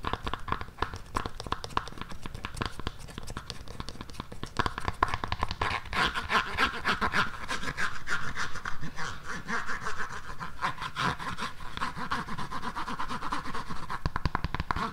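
Long nails scratch and rub along the tan hard sole of an empty black suede pump shoe. The result is a dense, uneven run of quick scratchy strokes and clicks with a soft low rumble underneath and a faint steady tone near 1 kHz.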